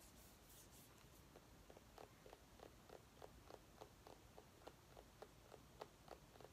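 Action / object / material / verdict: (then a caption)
scrape / small pumpkin / pumpkin rind / none. Long nails scratch a small orange mini pumpkin as it is turned in the hands, making quiet, dry scratching ticks. The ticks come at a quick, somewhat uneven pace, centered in the midrange over a faint steady hiss, and each one dies away almost instantly.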